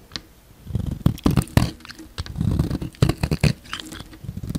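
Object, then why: Bar of soap carved with a knife blade. A utility knife blade scrapes and carves a solid, palm-sized pink bar of soap, sending flakes falling off. Soft, low scraping strokes are broken by quick, sharp clicks and crisp cuts as the blade bites in repeatedly.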